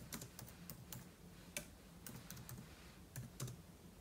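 Fingertips type on the plastic keys of a silver aluminum laptop keyboard, with an open book lying untouched beside it. About twelve short, crisp clicks tap out at an uneven pace over a soft low hum, each click dying away almost instantly.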